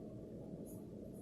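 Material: Nothing is struck.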